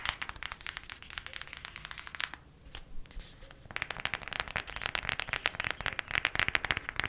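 Long matte black nails tap fast on the front cover of a flat, hand-sized printed cardboard eyeshadow palette. The clicks are dry, crisp and bright, with no ring, and they come in dense bursts. There is a short, quieter pause near the middle before the tapping picks up again.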